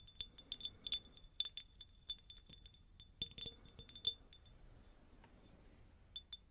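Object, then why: Faceted glass jar. Long nails tap and scratch a medium, faceted, hollow, empty cut glass jar. Quiet, irregular bright clinks ring at about 3.5 kHz, with soft scratchy rustling between them. Each tap dies away almost instantly.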